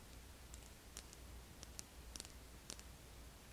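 A thin purple and black plastic eyeliner pencil lies on a table while fingernails tap and click along it. About eight short, crisp, high clicks come at irregular intervals over a faint low hum.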